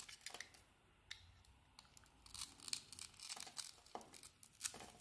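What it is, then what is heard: Bar of soap being carved. A solid blue soap bar with a pale green glitter-embossed coating, held in the hand, is carved with a utility blade, scraping off slivers. Quiet, bright, crisp scraping and shaving sounds come in short bursts with no ringing, and there is almost no low end.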